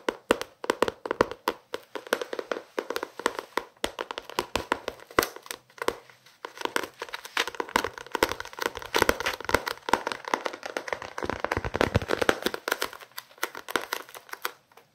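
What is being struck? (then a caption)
Paperback book, paper and card cover. A small paperback novel has its cover and spine tapped and scratched with fingertips and nails. The clip is a dense run of quick, dry taps with almost no ring, mixed with soft papery scratching and crinkling. Most of the sound sits in the low-mid range, with little deep bass and only a faint bright edge.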